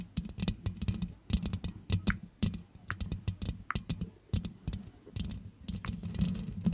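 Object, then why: Metal mesh microphone grille. Long manicured nails scratch and tap the black metal mesh grille of a large hollow metal USB condenser microphone. Rapid, uneven taps make sharp bright clicks over a boomy low thump, with scratchy rustling between them. Each tap dies away almost at once.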